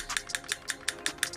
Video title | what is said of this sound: ASCEND DP17 / Airsoft Unboxing Review | yeah you can hear a little click click